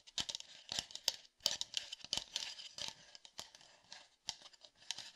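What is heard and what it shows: An empty-looking, hollow red plastic sports water bottle with a black cap is tapped with the fingertips on its body and cap. A quick, irregular series of light, crisp clicks and dry scratchy taps is heard, bright and high-pitched with almost no low end. Each tap dies away almost instantly.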